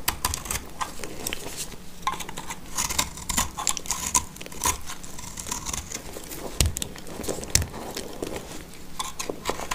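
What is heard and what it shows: A black utility knife blade scrapes and cuts a solid, dry blue soap bar held in the hand, whittling it down to a fragment. Steady, dry crumbly scraping runs throughout, broken by sharp crisp cracks and bright, gritty hiss as pieces shave and snap away.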